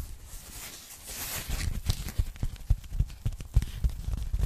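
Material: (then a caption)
Polyethylene foam. A pink polyethylene foam packing bag, unfolded and then flattened while held in both hands, is scratched and tapped on its textured surface by long nails. Soft, bright scratchy rustling opens the clip, giving way to a quick, irregular run of dull, low, muffled taps with almost no ring.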